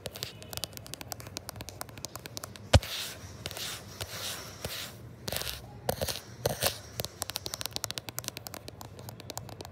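Short fingernails and fingertips tap and scratch quickly on the matte glass back and triple camera bump of a gold iPhone 11 Pro, which is also doing the recording. Dense, crackly clicks and rasping scrapes run throughout, with one sharp, louder tap near the three-second mark and short bursts of heavier scratching in between.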